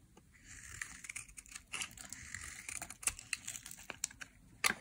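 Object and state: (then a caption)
Bar of dry soap being carved. A utility knife blade carves curled slices off a small, solid, oval, cream-white bar of dry white soap held in the hand. The sound is a run of crisp, dry, crinkly scraping strokes, bright and airy with a hiss centered around 2 kHz and almost no low end, over a quiet background. A sharper, louder scrape comes at the very end.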